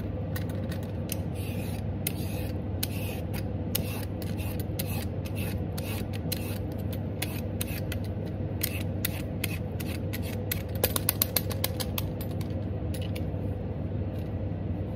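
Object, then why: Raw carrot scraped with a vegetable peeler. A black vegetable peeler scrapes along a medium, solid raw orange carrot held in one hand, removing strips of peel. Quick, bright scraping strokes repeat throughout, with a cluster of sharper strokes near the end, over a steady low hum.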